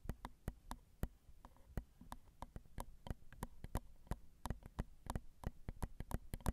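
Long pointed acrylic nails tap the grilles of the small, hollow, crossed silver metal X/Y microphone capsules on a Zoom recorder. About 28 quick, dry taps land in an uneven rhythm, each a sharp click with a deep, close-up thump and almost no ring. The tapping stays quiet and gentle throughout.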